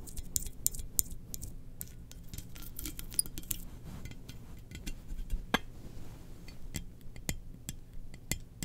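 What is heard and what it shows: Long nails scratch and tap a glossy black, hollow ceramic Darth Vader helmet-shaped mug with its lid on. Sharp, bright clinks and ticks with almost no ring sit over soft scratching and a steady low hum.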